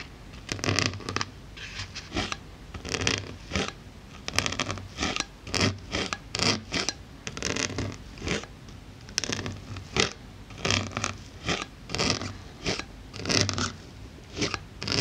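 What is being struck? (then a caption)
Polyethylene foam block. A wooden-handled needle tool pokes and scratches the surface of a solid, white polyethylene foam block about the size of a book, while a hand with long nails rests on top. A steady run of short, bright, squeaky scratching bursts, like a zipper being pulled, comes with a faint low hum underneath.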